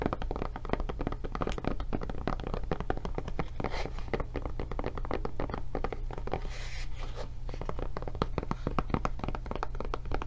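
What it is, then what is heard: Rubber tablet case. Long painted nails rapidly tap and scratch the surface and handle of a blue, thick rubber (silicone/foam) kid-proof tablet case with a tablet inside, medium-sized and solid-feeling, held in both hands. The result is a dense stream of short, dull clicks and soft scrapes with almost no ring, over a steady low, bass-heavy hum.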